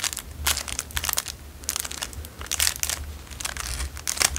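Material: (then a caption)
Cellophane. A small, narrow, empty clear cellophane wrapper is crinkled and rolled between fingertips, giving bursts of bright, crackling crinkles in quick clusters. The crackles stop almost instantly, with brief quieter gaps between them over a faint low hum.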